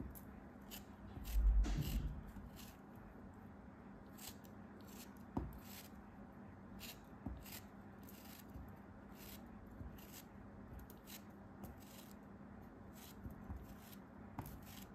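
A metal craft knife carves slices off the edges of a solid orange kinetic sand block held in the hand. Soft, gritty cutting and scraping sounds repeat over a low, steady hum, with a louder crumbling cut near the start and short, crisp ticks scattered throughout.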